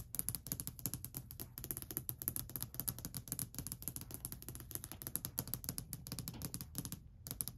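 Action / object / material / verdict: tap / varnished wooden ledge tapped with fingernails / wood / none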